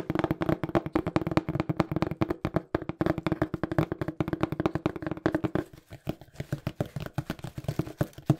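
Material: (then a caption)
Cardboard. Fingertips tap quickly on a small, hollow, brown printed cardboard shipping box, producing a dense run of short, dull, low thuds with a hollow body around 140 Hz and almost no ring. The tapping stays fast and steady, then thins and softens briefly around the six-second mark before picking back up.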